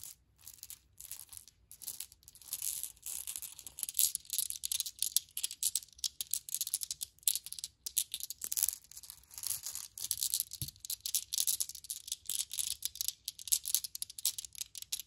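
A handful of small solid glass marbles, blue-green and clear, is scooped from a faux fur rug and rolled in the palm so they clink together. The sound is a dense, continuous stream of quick, bright clicks and rattles with very short ring and almost no low end.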